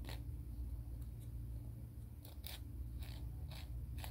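Fingernails are filed along the abrasive face of a grey emery board nail file, making short, bright rasping strokes at irregular intervals. The strokes sit over a steady low hum that dominates the quiet clip.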